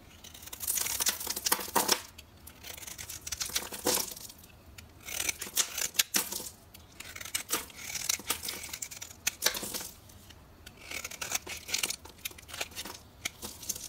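A solid rectangular purple bar of soap marked GLORY is held in the hand and scraped and shaved with a small metal carving knife, and the shavings pile up. Bursts of bright, crisp scraping and crackling come in waves of dense, rapid strokes with short pauses between. The sound is almost all high-pitched, with very little low end.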